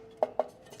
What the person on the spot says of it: You guys can hear the, you know, the aluminum sounds, okay?